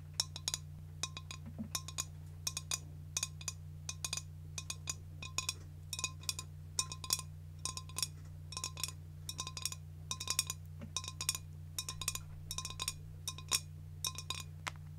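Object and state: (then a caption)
Empty glass jar. A large, clear, empty, hollow glass jar is tapped and clinked with long nails and fingertips in quick, irregular clusters of light taps. Each tap gives a bright, high, glassy click that dies away almost at once, over a steady low hum.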